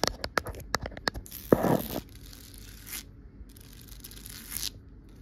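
Long nails tap and scratch along the woven rattan binding on the wrapped armrest of a wicker chair, a solid rounded rail. A quick run of sharp, dry taps gives way to a louder, rough rasping scratch, followed by softer, hissy scrapes with a bright edge that fade in and out.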